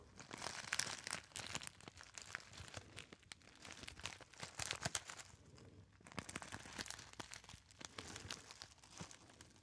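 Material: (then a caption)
Metallized foil. A small, hollow, apparently empty gold metallized foil pouch is crinkled and rubbed by fingertips. It makes a dense, bright crinkling full of sharp crackles that ease briefly near the six-second mark before picking up again.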